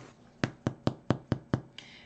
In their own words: when you thump the bottom of bread after it comes out of the oven and you hear that Hollow sound that means that the bread is done all the way through